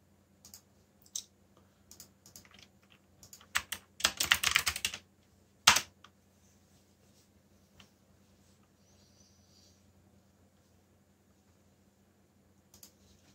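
Fingertips press and tap the black plastic keycaps of a backlit mechanical keyboard, giving bright, crisp clicks. Scattered keystrokes lead into a dense rapid burst of typing, then one sharp loud click. After that only faint soft ticks remain over a low steady hum, until a last brief clatter at the end.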